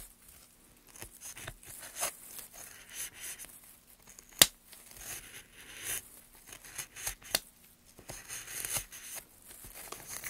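Gloved hands slowly carve the end of a solid, light pine softwood plank with a steel gouge. Quiet, bright scraping and shaving strokes come at an irregular pace, broken by a few sharp, brief clicks, one standing out near the middle.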